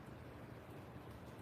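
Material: Nothing is struck.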